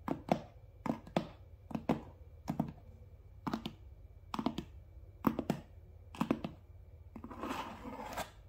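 Fingertips and nails tap and scratch the front face of a medium, closed, hollow cardboard Amazon Prime box. Short, dry, hollow taps with a low-mid body around 200 Hz come in quick pairs and triplets, separated by quiet gaps. The clip ends with a longer, brighter scratching rustle.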